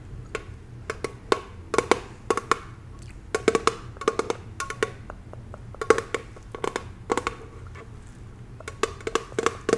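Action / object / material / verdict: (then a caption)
tap / thin metal candle jar lid / metal / none. Long acrylic nails tap rapidly on a round, hollow, thin-walled copper-colored metal lid embossed "BELOVED" atop a jar candle held up in hand. The taps come as an irregular run of quick, dry, woodblock-like clicks with a hollow mid-pitched tone and bright edges, each dying away almost instantly over a faint low hum.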